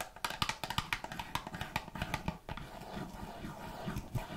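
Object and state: Cardboard cookie box.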